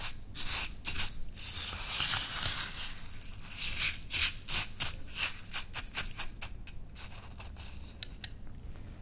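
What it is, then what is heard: Glass cup of coarse salt scrub, scraped with a spoon. A metal spoon scoops, stirs and scrapes coarse white salt scrub against the inside of a small, clear, footed glass dessert cup that is about half full and sits on a white towel, while a hand with long painted nails steadies the cup. Bright, gritty crunching blends with scratchy spoon-on-glass scraping in quick, irregular strokes over a low, steady rumble.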